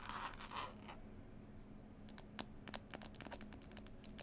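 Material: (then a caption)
Cloth, board. Long pointed nails scratch and tap rapidly on a closed, solid hardback book with a green textured cloth cover and a picture label. Bursts of dry, bright scratching open the clip, then give way after a quiet stretch to quick, irregular sharp taps and clicks over a faint, steady low hum.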